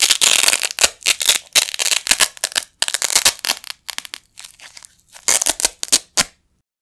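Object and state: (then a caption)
Nylon hook-and-loop strip being ripped apart. A pair of small, flat blue nylon hook-and-loop Velcro patches, held in both hands with the fingertips over a carpet, is ripped apart again and again. The result is a series of dry, bright, crackling tears, some long and some short, separated by brief pauses.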